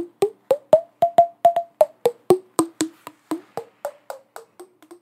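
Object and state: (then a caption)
Glass jar with metal lid, tapped with nails. A small clear glass jar with a screw-on metal lid, filled with pink glitter and crystals, is tapped with long acrylic nails while held up. There are 18 quick, short, hollow clicks in an uneven rhythm; their tone rises to a peak and then falls away again. Each tap is dry and short, with a faint bright edge.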